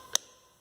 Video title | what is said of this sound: Mercedes B 180 com barulho na suspensão | quando o cara passava na lombada ou na costelinha de vaca, ficava batendo assim